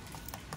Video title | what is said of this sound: Cara Mudah Memelihara Kura Sulcata dan Pardalis agar cepat besar #harcenfamily #sharing #kuradarat | keras kayak gini nih tuh ada bunyinya